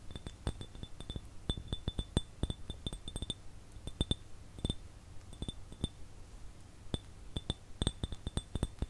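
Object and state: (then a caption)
Glass jar tapped with fingernails. An empty clear glass jar held in one hand is tapped and scratched with fingernails. It gives a rapid, irregular run of short, bright clinks with very little ring, over a low, steady hum.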